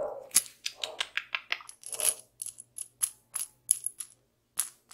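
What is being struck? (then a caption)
Steel bolt with hex nut. Long pink nails turn a hex nut threaded on a small solid steel bolt and tap the metal, held between the fingers close to the microphone. About eighteen short, uneven, bright metallic ticks and clicks follow one another, some with a faint high ring. Each one stops almost at once, with no low end.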